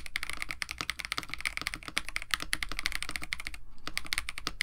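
A compact 65% KBD67 Lite mechanical keyboard with a white case, FR4 plate, lubed Techno Violets switches and blue and white PBT plastic keycaps is typed on continuously with the fingertips of both hands. The rapid keystrokes give short, crisp clacks with a clear peak around 2 kHz, bright upper ticks and a low thocky body, each dying away almost instantly, with a brief pause near the end before typing resumes.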